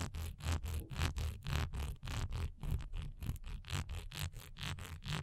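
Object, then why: Textured wax pillar candle. Long nails scratch quickly along the raised diamond texture of a single solid wax pillar candle as it is held, tilted and set upright. The result is a rapid series of short, rasping scrape strokes, each a bright burst of texture over a dull low thump from the handling.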